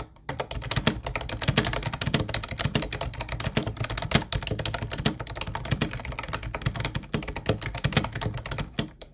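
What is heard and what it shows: A mint-blue plastic Ubotie retro keyboard with round white keycaps is typed on with the fingertips of both hands. A steady stream of quick, clacky keystrokes follows, each with a thunky low body and a bright plastic click that dies away almost at once.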